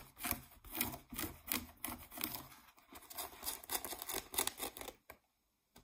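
Fingernails scratch the waistband of blue denim jeans and then the brown back label patch, giving a run of bright, rough scraping strokes that rise and fall in quick bursts. The scratching stops near the end, leaving near silence broken by one last faint scrape.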